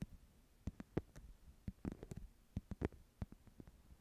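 Long nails scratch a small, flat woven wicker/rattan clutch pouch held in both hands. The result is a quiet, uneven series of short, dry scratches and ticks, mostly low with faint bright edges, each dying away almost instantly.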